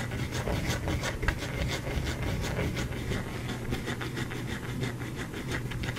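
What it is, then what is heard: Bar of soap. A solid white bar of soap, held upright in the hand, is scratched with fingertips and nails. A steady, dry rasping continues throughout, with short bright scrapes repeating at an uneven pace over a low, dull undertone.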